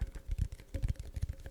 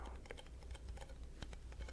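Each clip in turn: First: cardboard side of a crisps tube. Second: metal base of a crisps tube.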